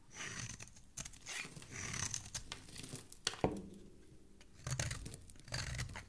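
A metal blade scrapes and shaves the edge of a solid pink soap bar held in one hand, peeling off flaky soap shavings. The sound is a run of dry, crackly scraping and tearing strokes with bright crisp texture, broken by a sharp louder snap partway through. The result is a steady, close-up series of rough shaving sounds.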